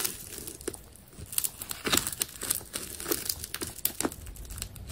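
A utility knife slices through the exposed layers of a carved ball of green and yellow adhesive tape. The result is a steady run of dry, crinkly crackling, broken by sharp, bright ticks and snaps that die away almost instantly.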